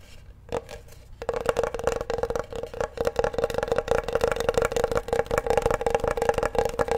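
A large flat solid bamboo wooden cutting board is held upright while fingertips and nails tap and scratch its surface. After a soft single tap near the start, a dense run of quick, dry taps and scratchy rubs sets in and continues steadily, each with a short woody tone and almost no ring.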